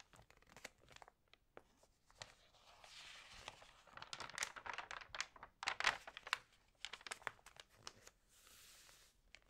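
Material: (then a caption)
Paper. Hands rub, crinkle and turn the dampened pages of an open paper magazine at its TV-guide section, lying flat on a table. The result is a quiet run of dry, bright crackles and crisp crinkling bursts with almost no low end, swelling into a denser cluster of sharp crackles near the middle before easing into softer rustling.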